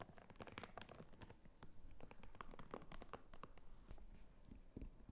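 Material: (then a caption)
Faux leather. Long nails scratch and tap the textured surface of a small, apparently empty red clutch bag made of croc-embossed faux leather, and handle its snap flap. The result is a quiet, steady run of crinkly scratching and rough rubbing, broken by short, sharp clicks and taps that fade quickly.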